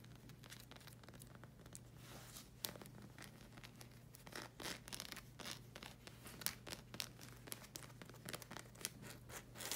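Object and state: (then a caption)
Rubber sandal sole. Long red acrylic nails scratch and tap across the solid hexagon tread of a black rubber slide sandal sole. Quiet, dry, bright scratching runs throughout, broken by many quick sharp taps, over a faint steady low hum.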